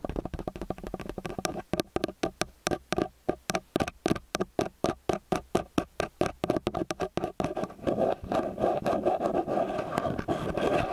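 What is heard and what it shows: Fingertips and nails tap and scratch the two metal mesh capsule heads of a small handheld X/Y stereo microphone with a metal body, resting on a white roll. Quick, dry, muffled thumps come at about four per second with a warm low-mid tone. In the last few seconds they give way to a denser, continuous scratching rustle.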